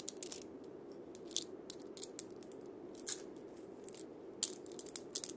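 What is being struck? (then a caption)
Cabasa with wooden body and steel bead chains. Fingers scratch and roll the steel bead chains of a single cabasa against its wooden cylinder body. The result is quiet, bright, crisp clicking and rattling in irregular short bursts over a soft, steady low hiss.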